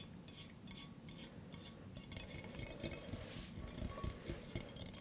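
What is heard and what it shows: A hollow, empty stainless steel mug with a handle is held up overhead and then in front of the body while fingertips and nails tap on it. Quick, bright metallic clinks ring briefly over a low, steady background rumble.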